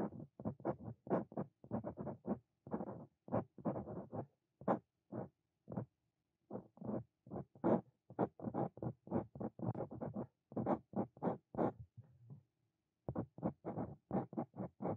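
A fine steel Brause Cito Fein dip pen nib, held in the fingers, scratches across a flat white paper notebook page while writing out a quoted line. Dozens of short, dry scratching strokes come in quick bursts with brief pauses between. The strokes are soft, mostly low-to-mid in tone with a slight papery rasp.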